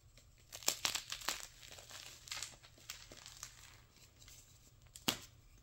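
Crumbs of white gym chalk (magnesium carbonate) are crushed in bare palms, then a solid, dry, brittle flat slab of the chalk is held and snapped apart with the fingers. Bright, dry crunching and crackling fill the clip, broken by sharp snaps early on and one loud crack near the end, each dying away almost at once.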